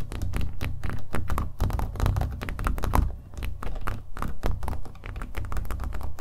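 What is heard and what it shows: Fingernails tap rapidly and irregularly on the painted surface of a small, hollow-backed, acrylic-painted stretched canvas held in the hand. Each tap gives a short, dull, hollow thump with a deep low body and very little brightness, dying away almost at once. The tapping runs steadily throughout, rising and falling slightly in strength.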